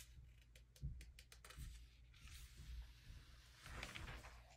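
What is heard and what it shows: A flat hand rubs the thin pages of an open glossy paper early-2000s vintage magazine, and fingertips lift and flip them. Quiet, dry crinkles and brief crisp ticks give way to longer bright, airy swishes as the pages slide and turn, over a steady low hum.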